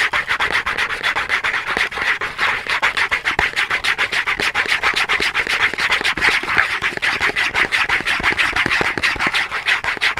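Fingernails quickly scratch and rub across the face of a small cardboard soap box held flat in both hands. The result is a rapid, steady stream of dry, rasping strokes for about ten seconds, bright and papery, centered around 1.8 kHz with almost no low end.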